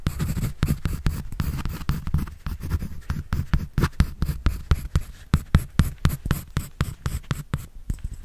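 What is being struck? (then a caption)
Pencil on paper sketch pad. A pencil scratches and draws across a white paper sketch pad held in the hand. Quick, uneven strokes come about four per second. Each one is a short, dry, low rasp with almost no ring, and soft bright hiss fills the gaps.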